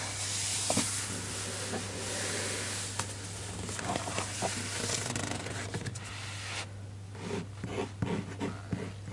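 Flat fingertips rub and trace across a paper page of an open hardcover children's book showing a street-scene spread, producing a steady, bright, papery hiss with a faint low hum beneath. After about two-thirds of the clip the broad rubbing drops away, leaving quieter, scattered light scrapes and soft ticks on the page.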